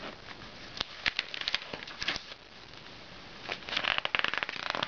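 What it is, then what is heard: Glossy paper magazine. Fingertips turn and flip the thin coated pages of an open glossy paper magazine lying on a red blanket on a lap. Bright crinkling and rustling come in sharp bursts, with a quieter stretch in the middle before denser, louder page handling at the end.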